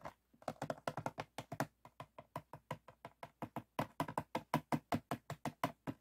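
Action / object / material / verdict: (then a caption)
tap / empty ribbed PET plastic bottle / plastic / none. Fingertips and nails tap and flick the ribbed hollow wall of an empty, clear, ribbed PET water bottle standing upright, with a foam sheet behind it left untouched. About 36 quick, dry, hollow plastic taps come at an uneven pace. Each is short with almost no ring and a low-mid knocking body.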